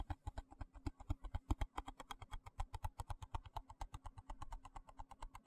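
A small, hollow, translucent white plastic box held in one hand is tapped and scratched with fingertips and nails. It gives about 44 quick, dull, hollow taps in rapid, uneven succession, each with a soft scratchy click on top. Each tap dies away almost at once.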